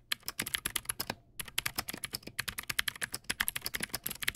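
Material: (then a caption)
Plastic. Fast fingertip typing on a Teamwolf Zhuque+ X08 backlit mechanical keyboard with white plastic keycaps and clicky blue switches produces about 33 sharp, bright clicks in quick succession. The clicks are dry with almost no ring and little low end, and there is a brief pause just past the first second before the rapid typing resumes.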